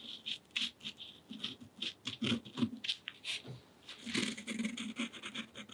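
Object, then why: Paint pen tip on thick cotton rag paper. The tip of a purple acrylic paint pen is drawn across a sheet of thick, textured cotton rag paper painted in gouache, lying flat on a table. It makes a quiet, fine scratching rub in many short, quick strokes, with a bright, papery hiss over a soft, low body.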